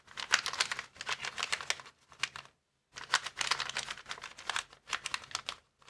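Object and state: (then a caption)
Clear plastic air-column packaging bag. Fingertips rapidly tap and scratch across a flat, clear plastic air-column packaging bag resting on a wooden table. Dense bursts of bright, crisp crinkling and clicking come in quick flurries, with a brief silent pause midway. Each tap stops dry with almost no ring.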